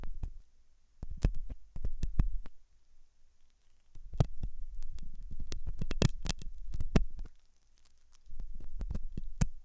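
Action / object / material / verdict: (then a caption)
scrape / silicone dummy ear of a binaural microphone / silicone / none. A thin hooked metal dental tool scratches inside the ear canal of a white silicone dummy ear on a binaural microphone, which is soft and solid-looking. The result is close, muffled, low scraping and thumping in bursts, with sharp clicks between quieter stretches and a faint steady high hiss underneath.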